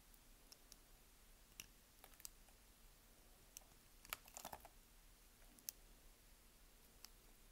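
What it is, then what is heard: Bar of soap being cut. A palm-sized, partly carved solid light-blue Dalan bar soap is held in one hand and scraped and cut with a yellow utility knife blade into small cubes and slices. Thirteen short, crisp clicks and scrapes sound over quiet background hiss, bright and dry with almost no ring, with a small cluster of cuts near the middle.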